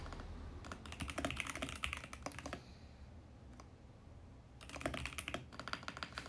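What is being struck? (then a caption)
Mechanical keyboard with plastic keycaps and case. Fingertips type steadily on a compact VGN X68 mechanical keyboard with plastic keycaps and a plastic case. Quick bursts of bright, clacky keystrokes come at an uneven pace, with a quieter stretch in the middle broken by a lone key press, then typing resumes. A low, steady hum sits underneath throughout.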